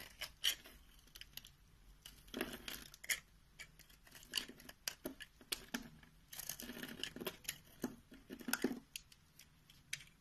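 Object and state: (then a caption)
Bar soap being cut. A box-cutter blade shaves and slices scored cubes off a solid light peach bar of soap held in the palm. Many short, crisp, bright cutting clicks mix with longer dry scraping passes, loudest around two and a half seconds and again from about six and a half to nine seconds, each sound stopping dead with no ring.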